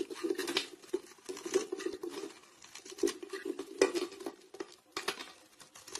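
A blade scrapes shavings off the domed surface of a solid grey round soap bar held in the hand. Quick, dry, crackling scrapes and flicks repeat throughout over a steady mid-pitched tone, with brighter sharp ticks as bits come away and almost no ring after each stroke.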